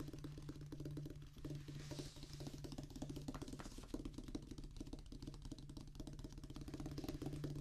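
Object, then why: Rubber practice pad on a wooden base. Fingers and fingertips of both hands drum rapidly on a flat oval practice pad, a black rubber top on a solid, light wooden base. The result is a steady, dense stream of soft, dull taps with short decay, mostly low and thuddy with a faint tonal center. There is little high-end brightness throughout.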